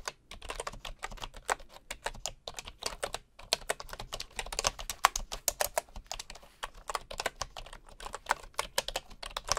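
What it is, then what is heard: Bamboo wooden keyboard. A bamboo wood keyboard is typed with the fingertips of one hand, a wooden mouse lying idle beside it. The result is a steady run of quick, dry, clicky key taps with a mid-pitched, bright character and almost no ring, broken by a brief pause a little past three seconds.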